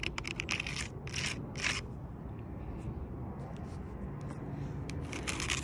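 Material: Wood bark.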